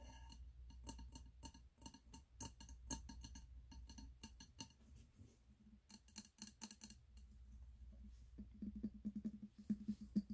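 Fingertips and nails tap the glass wall of a medium wax-filled glass candle jar with a red label and gold metal lid, held in the hands. Quick, irregular light clicks and taps run throughout with a steady low hum beneath, and the taps grow louder and take on a dull tone near the end.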